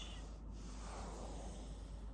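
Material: Nothing is struck.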